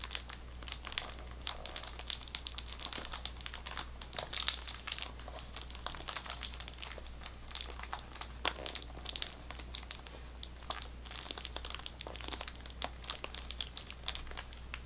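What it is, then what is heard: Plastic-wrapped gum pack, scratched and tapped. A full, boxed pack of Extra chewing gum in plastic-wrapped cardboard packaging is held in both hands and scratched and tapped with long nails. The result is a dense stream of bright, crinkly scratches and quick, sharp taps over a faint steady low hum.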